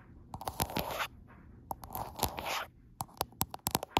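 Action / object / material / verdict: tap / glass phone back tapped and scratched with fingernails / glass / none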